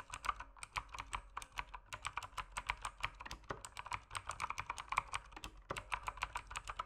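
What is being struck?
Mechanical keyboard with plastic keycaps.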